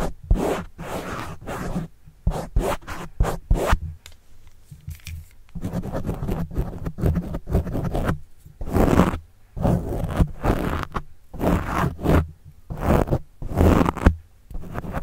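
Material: Foam.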